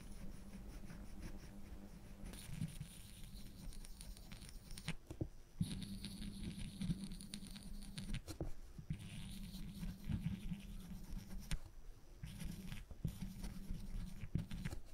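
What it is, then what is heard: Plywood board. A woodburning pen's wire tip is scratched back and forth across a flat, thin plywood panel, shading the bowl of a pipe. The result is soft, low, papery scratching in repeated bursts separated by brief pauses, over a steady low hum. Each stroke dies away quickly.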